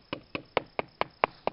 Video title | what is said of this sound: Oak Wilt Pressure Pad Hunting with Phillip Kurzeja, "The Oak Wilt Guy" (Spring 2017) | Doing the drumming just to listen for the change in tone. Listening for those hollow sounds